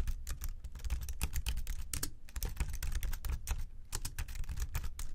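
Both hands type steadily with their fingertips on the plastic keys of a slim white keyboard resting on a desk, while the mouse beside it sits untouched. The result is a fast, continuous patter of short clicks and taps, each with a dull low thump and a brief bright tick that dies away almost at once.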